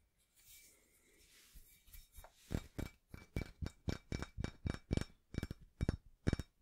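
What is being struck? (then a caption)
Cast iron barbell plate. Fingertips and nails scratch across the embossed face of a small, solid, rusty cast iron barbell plate with a center hole, held in both hands. A soft, hissy rubbing is followed by a steady run of about 17 dull, low taps that grow louder toward the end. Each tap stops almost at once, with no ringing.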